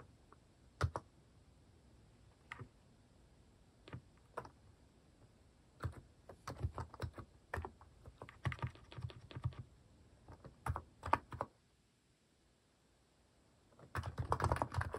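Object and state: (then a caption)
Plastic mechanical keyboard being typed on. Fingertips type on a white-case Hanmumu mechanical keyboard fitted with pastel plastic cat-shaped keycaps, first with a few scattered single keystrokes, then in quick bursts of clacky typing. The short, dull clicks sit mostly low. After a brief quiet pause, a dense flurry of rapid keystrokes closes the clip.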